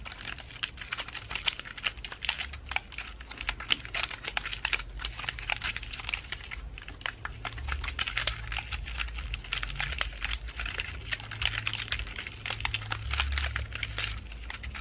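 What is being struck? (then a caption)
Pine cone and dried flower ornament ball. A fist-sized decorative ball covered in woody pine cones, green moss and dried burgundy flowers is held in both hands while long acrylic nails tap and scratch over the cone scales. Many dense, quick, bright clicks and scratchy crackles run throughout, with a low rumble underneath.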